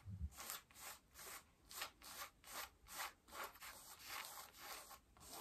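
Long nails scratch and rub the back pockets and waistband of worn, mid-blue cotton denim jeans. Ten separate, uneven rasping strokes are heard in a quiet, bright, dry scratching pattern, with a brief low thump at the very start.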